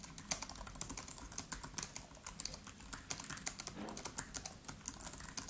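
A MacBook Pro's built-in keyboard, black plastic keys set in a silver aluminium case, is typed on rapidly with the fingertips of both hands. Quick, dry, bright clicks follow one another in a steady stream, each dying away almost at once, with a faint low hum underneath.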